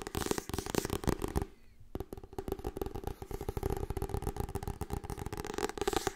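Long nails scratch and tap quickly across the solid, glossy cover of a Harry Potter hardcover book, and fingers riffle its pages. The result is a dense stream of dry, crackling clicks and scrapes with a low, thudding body, broken by a brief quieter gap before the rapid scratching resumes.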